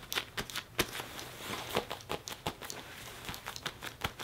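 Fingertips and a palm quickly rub, grip and tap the chest and sleeve of a worn black leather jacket. The result is a rapid series of short, bright creaks, scuffs and taps over soft rustling, with little low end and almost no ring.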